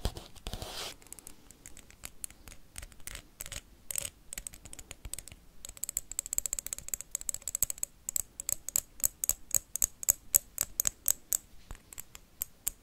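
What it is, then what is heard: Wax candle. A blue wax candle is tapped and scratched with paperclips. A brief scratchy rush opens the clip, then fast, uneven clicks and taps follow with bright, high metallic ticks and light scraping in between.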